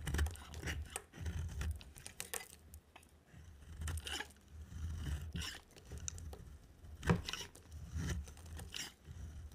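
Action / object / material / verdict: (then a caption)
scrape / bar of soap shaved with a blade / soap / none. A utility knife blade shaves a solid yellow dry soap bar, piling curls up beside it. Short, dry scraping strokes repeat irregularly, each with a brief bright crackle over a soft low rumble.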